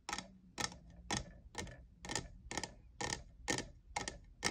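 Fingernails tap the faceted side of a tall, hollow, lavender plastic jeweled tumbler that appears empty. The result is a steady series of crisp, bright clicks with a light plastic tone near 1.9 kHz, each one dying away almost at once.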